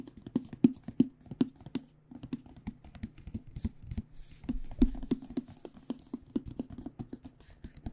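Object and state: Aluminum hard case.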